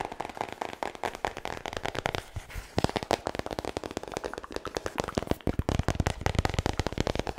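Fingertips and nails tap and scratch the glossy laminated front cover of a large, thick, solid hardcover book, Guinness World Records 2020, held upright near the mic. A dense run of quick, dry clicks and scratchy crackles with almost no ring, carrying a soft low body under brighter crisp edges.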